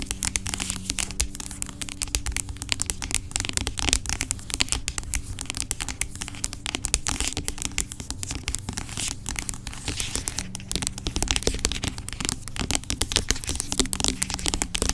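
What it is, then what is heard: Plastic pump bottle of gel. Long acrylic nails tap and scratch the sides of a large, dark, hollow plastic pump bottle of aloe vera gel that lies on its side and seems filled with gel. A steady stream of rapid, crisp clicks and bright scratchy rasps runs throughout, over a faint low steady hum.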